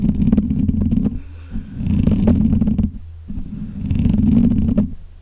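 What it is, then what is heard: Metal mesh microphone grille being scratched. Fingertips and nails of both hands scratch and rub around the black hollow metal mesh grille of a desk microphone. Three long bursts of dense, boomy scratching and rubbing, heaviest in the low range, are separated by brief quieter stretches of low hum.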